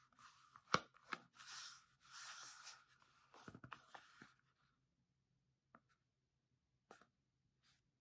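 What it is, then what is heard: Cardboard soap box. A small red and yellow printed cardboard soap box, closed with a bar of soap inside, is held in both hands and turned over while fingertips and nails scratch and tap it. Dry papery scratching and rustling fill the first few seconds with a few sharp taps. After that, quiet falls, broken only by a few faint isolated taps.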